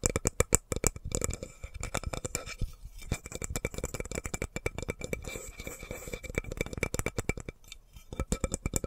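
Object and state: Wooden spoon.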